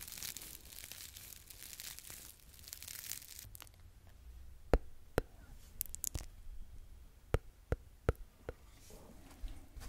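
A small, yellow, porous foam sponge held in one hand with long nails is squeezed and rubbed by the fingertips. Dense, bright crinkling and rustling fills the first few seconds, then fades to a quiet hush. After that, sharp, isolated clicks and snaps ring out over a low rumble.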